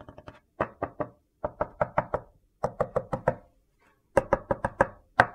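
A large, flat, rectangular slab of solid white soap resting on a dark surface is knocked with a knuckle and then struck with a metal meat mallet. About twenty short, dull, woody knocks come in quick bursts separated by brief pauses, each dying away almost at once with a mid-range tone.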